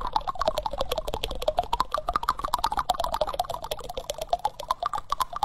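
Fingertips and nails tap and scratch the bowl of a solid, reddish-brown wooden spoon held close to the microphone. Quick, dry, woody clicks come about twice a second in an uneven rhythm, each centred around 1 kHz with a brief bright edge and almost no ring. A faint scratchy rustle runs beneath the taps.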